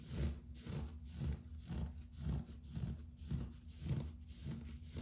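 Fingertips and short nails scratch and rub the pile of a soft, textured grey fabric bath rug lying on a wood-look floor. The result is a steady run of soft, muffled rubbing strokes that swell and fade in a loose rhythm, with almost all of the sound low and dull and no crisp high scratch.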